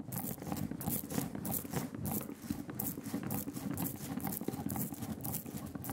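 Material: Printing ink.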